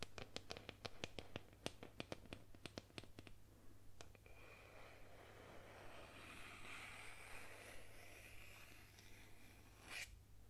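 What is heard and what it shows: Long nails scratch and trace along the painted surface of a solid painted wooden boomerang. The clip opens with a quick run of sharp, clicky nail strokes, then settles into a softer, continuous scratchy tracing with a bright rasp. A final stroke comes near the end, all over a steady low hum.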